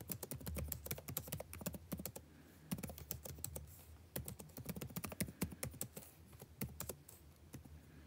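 Fingertips type continuously on the blue-backlit plastic keycaps of a dark laptop keyboard, producing rapid, dense streams of short, dry clicks and thuds. The taps sound fairly muted and low-weighted and stop almost instantly. They come in bursts, with brief lulls around the third second and near the end.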